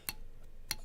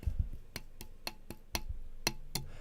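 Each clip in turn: First: carbon fiber quad frame with damping grease, damped ringing. Second: carbon fibre quad frame without damping grease, rings longer.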